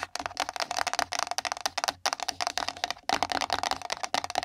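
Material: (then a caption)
Cardboard. Long nail tips tap fast on a small, empty, pink printed cardboard gift box resting on the microphone. Rapid, crisp clicks ring out with a hollow tone around 730 Hz, with brief pauses near the two- and three-second marks before the tapping resumes.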